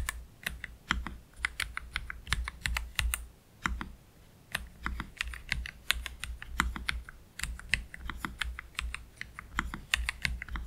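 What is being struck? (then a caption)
Plastic mechanical keyboard keys. Slow typing with the fingertips of both hands on a black Keychron K3 Pro low-profile mechanical keyboard with Gateron Red low-profile switches and PBT plastic keycaps, resting on a cloth deskmat. Dozens of short, crisp, bright clicks and clacks come in uneven bursts, with a longer pause in the middle. A steady low hum sits underneath throughout.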